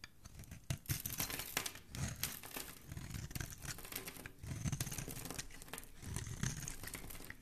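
A metal blade scrapes across a solid blue oval bar of Dial soap, palm-sized and held in the hand, shaving curls and flakes off its surface. Dense, dry scratching and crisp shaving strokes come in quick bursts, with bright, crackly edges over a soft low rasp.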